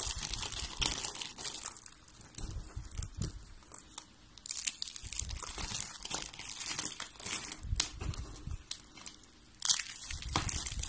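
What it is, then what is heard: Dry soap curls, crunchy. Fingertips with long red-painted nails crush and crumble a pile of thin, hollow, rolled pink and yellow dry soap curls and flakes. Dense, dry, bright crackling and crunching come in quick bursts, with short quieter pauses between handfuls. Each crunch stops almost instantly, with no ring.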